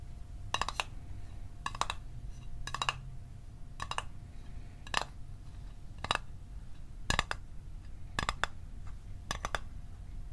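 Fingernails tap the edges and lid of a small, hollow, closed blue Altoids metal tin held in the hands, in about nine quick bursts of two or three taps each. Each tap is a bright, dry metallic click that dies away almost at once, over a low steady rumble and a faint constant hum.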